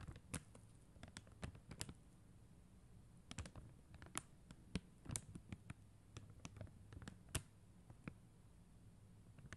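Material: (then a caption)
Acrylic plastic. Long acrylic nail tips tap quickly on a flat sheet of clear and blue plastic rhinestone stickers on a white backing. The result is a quiet, irregular patter of sharp, dry clicks, some bright and crisp, that stop almost instantly, over a soft low hum.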